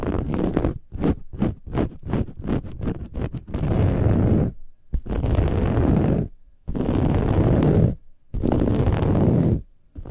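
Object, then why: Woven fabric pillow cover. Long nails on both hands scratch the cover of a soft, silver, textured cushion made of metallic woven fabric. A quick run of short, choppy scratches gives way to several long, sustained rasping passes separated by brief silences. The dense, rough scratching noise is heavy in the low end.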